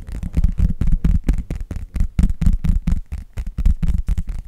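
Long nails tap quickly and unevenly on an empty clear plastic glitter phone case with a thin shell, which is turned edge-on at the end. The taps are soft, dull thuds with almost all their energy in the low end and no ring after each one.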